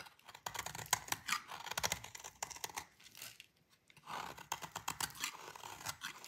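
A metal utility blade shaves a solid rectangular bar of dry orange soap held in the hand, sending crumbly gratings falling off. Bright, dry crunching scrapes and crisp clicks come in quick bursts, with a brief quiet pause midway before the shaving resumes. The sound is thin with almost no low end and no ring after each cut.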